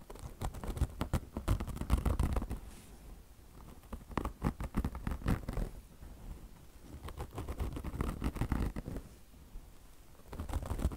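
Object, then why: Car wash sponge with polyester mesh over foam. Long blue nails scratch a beige, peanut-shaped mesh fabric chenille car wash sponge, its polyester mesh top stretched over soft foam. Quick, uneven bursts of dry, muffled scratching and patter, mostly low in tone, alternate with brief quieter pauses.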